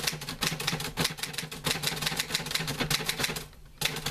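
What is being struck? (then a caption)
Metal manual typewriter. Fingertips type on the keys of a green-grey metal portable manual typewriter with paper loaded. Rapid, bright mechanical clacks follow one another with a low hum underneath, pausing briefly before the typing resumes.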